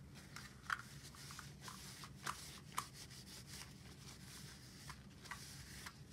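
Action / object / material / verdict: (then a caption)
scrape / desktop stapler, metal top on plastic base / metal, plastic / none. A desktop stapler with a metal top and black plastic base is held in gloved hands and wiped along its length with a white wipe. A quiet, airy rubbing hiss runs throughout over a low steady hum, broken by five brief sharp ticks from the stapler.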